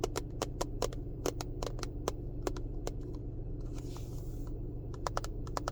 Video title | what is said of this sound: Car ASMR 🚗 Tapping, Scratching, Rambling | this little container made a good little noise when these aren't inside